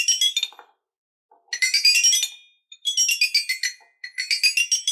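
Two wooden stick mallets with ball tips tap the curved coloured metal bars of an eight-bar rainbow toy xylophone on a wooden frame, lying on a dark surface. Bright, high, chiming notes come in quick runs of taps, separated by short pauses and a few soft low knocks. Each note rings briefly, with no low end.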